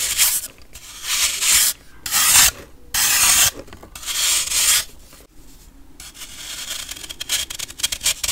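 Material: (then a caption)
Baking soda. A metal knife blade repeatedly scrapes a solid pressed baking soda block held in the hand, piling up powder shavings. The sound is a dry, bright, hissy rasp in loud bursts separated by short quiet gaps, then trails off into softer, steadier crumbly scraping.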